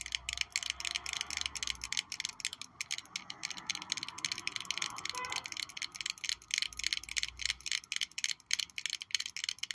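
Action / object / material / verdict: tap / small glass perfume bottle with metal cap / glass / none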